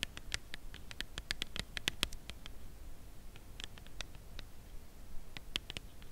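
A full red Lindor cardboard chocolate box is held upright and tapped and scratched with long nails on its face and top edge. Quiet, dry, bright clicks and light scratches come in quick clusters with no ring, thinning out toward the end over a low background hum.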